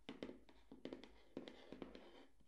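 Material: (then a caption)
Cardboard. Fingertips and nails tap and scratch the surface of a small, hollow, closed white cardboard gift box held in both hands over a towel-covered table. The result is a quiet run of soft, hollow taps with a low-mid body, separated by faint scratching. Each tap dies away quickly.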